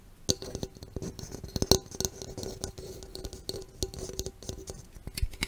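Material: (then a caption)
Aluminum. A green Mountain Dew aluminum soda can, a hollow cylinder held close to the microphone, is tapped and scratched along its body and rim by long red nails. Short bright clicks and taps come in quick irregular succession over soft scratching, with a faint metallic ring around 380 Hz that dies away fast.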